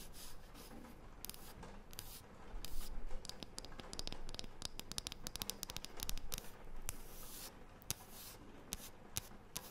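A thin, round, light wooden disc is scratched with long painted fingernails. Dry, rubbing scratches build into dense clusters of sharp, bright clicks and ticks over a low, steady rumble, with no ringing after each stroke.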